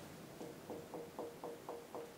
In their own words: Very solid that's where the bricks of the chimney are